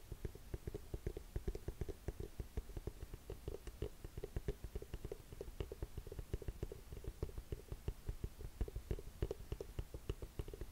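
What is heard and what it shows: A burgundy suede boot is held sideways while long nails tap and scratch its thick wood-effect sole and heel. The result is a quiet, rapid stream of short, dull, low-heavy taps with faint scratchy texture between them, each tap dying away almost instantly.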